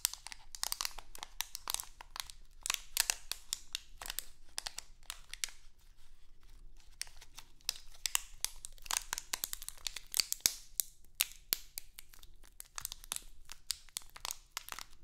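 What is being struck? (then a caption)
Thin plastic bag. A small printed crinkly plastic Halloween candy bag is held in both hands and crinkled and scratched with long acrylic nails. Dense, bright crackling bursts come in quick clusters, with short quieter pauses between them, and each sharp crinkle stops almost instantly.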